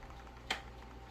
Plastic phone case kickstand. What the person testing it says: when it's locked into place it's supposed to stay firmly locked into place but this is loose and it rattles